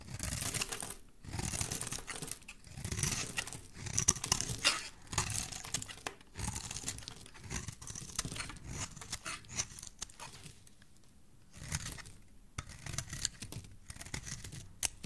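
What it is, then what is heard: Bar soap being carved. A solid rectangular teal bar of soap is held in the hand and carved with a metal blade. Bursts of dry, crisp scraping and crumbling shavings come in close, bright waves with a soft low thud beneath, pausing briefly between strokes.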